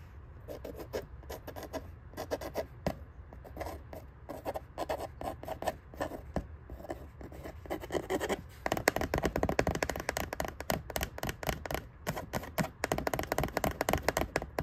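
A hollow brown corrugated cardboard shipping box printed with the Funko logo is scratched and tapped on its side with a fingernail and fingertips. It gives dry, rapid scratching and light tapping with a papery rasp. The strokes grow louder and denser in the second half.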